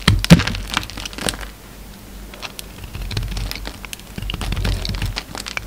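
A solid orange soap bar with remnants of a green coating is held in the hand and shaved and scraped with a utility knife blade. Dry, crackling, crinkly scrapes and short sharp cracks peak early, then give way to a steadier run of quieter rasping strokes that swell again toward the end, with most of the energy in the low range.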